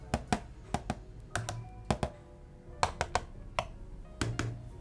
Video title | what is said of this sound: Review Dell U2419H Monitor Indonesia | pas saya ketok kok kayaknya plastik gitu ya